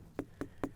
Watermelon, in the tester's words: when you thump on it, you want to look for like a low hollow sound, not something that just falls flat, like a higher pitched tinny sound